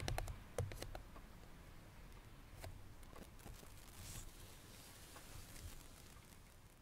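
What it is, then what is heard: Cardboard perfume box. Long nails tap rapidly on the lid of a small cardboard perfume box resting on a grey surface, making crisp, dry clicks with a soft low thud under each one. The taps come quickly and unevenly at first, then thin out and fade as the hands move away by the end.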